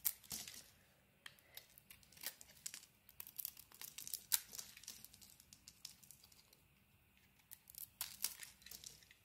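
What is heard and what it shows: A beige-white solid bar of soap held in the hand is shaved with a craft blade, giving quiet, bright scraping and crinkly tearing sounds in many short, crisp bursts. The cuts come in uneven clusters with brief pauses, and the sound is almost entirely high-pitched with no low body.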